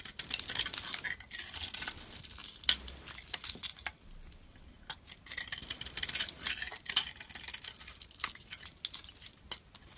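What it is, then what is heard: Bar of soap being shaved. A hand-held solid bar of soap with a blue glitter coating over a teal core is shaved with a metal utility-knife blade, and flakes fall away. Bright, crisp scraping and crackling comes in two main bursts of rapid, dry ticks with quieter pauses between them.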